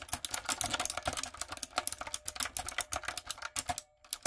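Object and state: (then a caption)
Mechanical keyboard with round plastic keycaps. Fingertips and long nails type quickly on a light-up, typewriter-style retro mechanical keyboard with round plastic keycaps. The result is a dense run of sharp, bright clicks and clacks with very little low end, broken by a brief pause just before the last few keystrokes.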